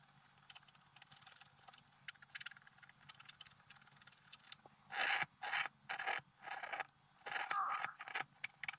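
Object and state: Scratch-art paper card.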